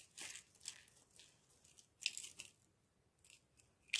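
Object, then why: Green bar soap shavings. Small, loose, dry crumbled bits of green bar soap, with corn starch, are squeezed and crushed between fingertips and palms with dark-painted nails over a pile of the same shavings. The sound is a series of quiet, bright, crisp crunching and crackling bursts at an uneven pace, with no low end. The loudest crunches come near the middle and at the very end.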